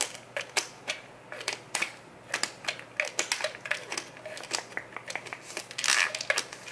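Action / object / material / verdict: scrape / plastic pill bottle with plastic screw cap / plastic / none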